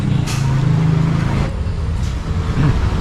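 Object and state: Nothing is struck.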